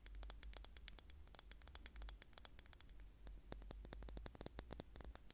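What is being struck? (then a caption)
Small glass bottle. Long painted nails tap and click rapidly on a small clear square glass bottle with a metal cap or stick on top, held in the hand beside a microphone. The dozens of short, dry clicks carry a bright, high glassy ping with almost no ring, over a steady low hum. The tapping briefly softens into a quieter rustling patch about midway before the crisp clicks resume.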